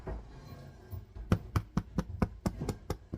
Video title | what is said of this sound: My House Smells Like Bread Heaven Right Now, Yummy. Day 8: Live Bread Bake, Start Finding Success. | the way you tell if your bread is done is you use your ear do you hear that Hollow sound